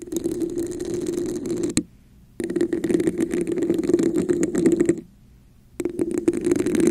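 Long nails scratch and tap the surface of a hollow red textured plastic cup placed over the mic. Dense, raspy scratching rings with a hollow midrange tone, broken by two short silences before resuming.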